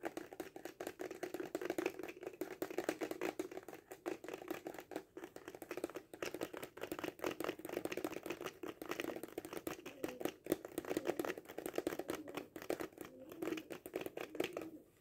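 Fingernails tap quickly on a hollow cardboard kaleidoscope tube held horizontally. The result is a steady stream of short, dry clicks with a hollow, boxy tone centred around 340 Hz and little deep low end. The taps die away almost instantly.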